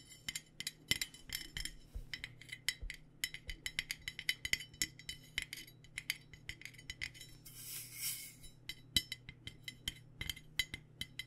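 Fingers or nails tap an aluminum water bottle in a steady, irregular stream of quick, bright metallic clinks with very short ring. A brief soft swish sounds near the eighth second, over a faint low hum.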